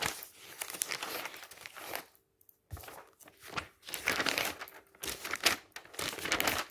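Fingertips grab and flip the thin glossy pages of a thick glossy paper travel catalog lying open on a magazine stack, one page after another. Bright, papery rustling and crinkling comes in quick bursts, broken by a short near-silent pause around two seconds in.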